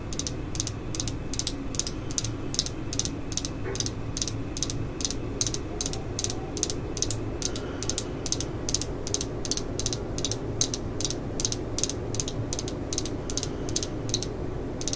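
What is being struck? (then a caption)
Steel screwdriver shaft tapped with fingernails. Long nails tap and scratch along a thin, solid steel screwdriver shaft held by its black and yellow handle. It makes a rapid, steady series of short, bright metallic ticks, almost like a ratchet, over a constant low hum. Each tick dies away almost at once.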